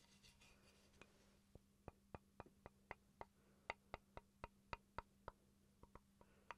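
A small solid wooden chopping board is held up and tapped with fingertips and with a wooden pencil. There are 17 quiet, dry, woody taps at an irregular pace, each sharp with a very short ring around 950 Hz, over a faint steady hum.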